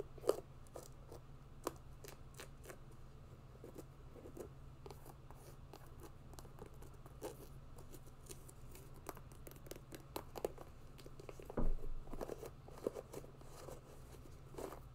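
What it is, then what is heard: Mesh hiking sneaker scratched. Long nails and fingertips scratch the upper and laces of a grey mesh and synthetic hiking sneaker. The result is a quiet run of short, dry scratchy ticks and rasps over a steady low hum, with a slightly louder scrape near the end.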